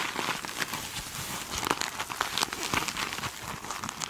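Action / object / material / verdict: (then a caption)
scrape / foam sponge with glittery mesh cover / mesh fabric / none. Long nails scratch the glittery side of a hand-sized foam sponge with a sparkly mesh cover held in one hand. The result is a steady, bright, crinkly scratching texture with dense, quick crackles and very little low end.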